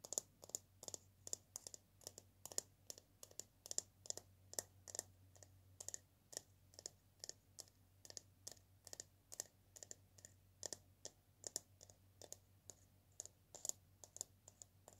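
Long painted nails tap and scratch the etched surface of a single hollow dried-gourd maraca held close up. The result is a steady, quiet stream of sharp, bright, high clicks that die away almost instantly, over a faint low hum.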